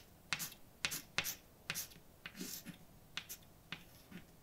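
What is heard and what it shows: A hand writes words with a white chalk stick on a large, flat, dark painted blackboard with a solid surface. Nine sharp, bright taps and short scratchy strokes come at an irregular pace, each dying away almost instantly against a quiet background.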